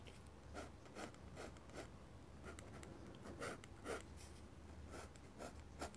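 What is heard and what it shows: A fine pen nib held in the fingers scratches lines and lettering onto a large, flat sheet of white drawing paper mounted on a board. Quiet, irregular strokes scrape and hiss with bright edges over a low steady hum. Each stroke fades quickly.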